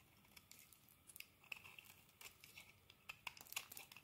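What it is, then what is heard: Bar of soap being carved. A solid green bar of soap is scraped and carved with a metal blade, producing crumbly shavings. Quiet, bright, crisp scraping and crackling ticks come in many short bursts, with almost no low end.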